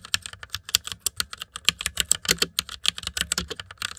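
Fingertips type fast on a full-size white mechanical keyboard with plastic keycaps and RGB backlight, resting on dark fur. About 26 quick, bright plastic clicks and clacks come in a steady stream, each dying away almost at once with very little low end.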